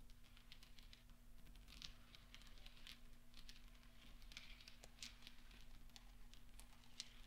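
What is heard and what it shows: Fingertips and nails stir and roll small solid steel pachinko balls resting on black velvet, making quiet, bright, rapid clinks and soft rattling that patter throughout. A steady low hum sits underneath the whole clip.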